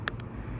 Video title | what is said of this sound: RV Roof Flexing and Lifting? Don't Wait on This Repair | whenever you can tap on it and you can hear that noise it's usually a tattletail sign